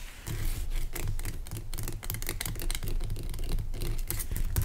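Fingernails scratch and tap the top and sides of a large, pale rock salt lamp made of solid, rough crystal. The result is a dense, continuous run of quick scratches and light taps with short, dry, bright attacks over a heavy low-end body.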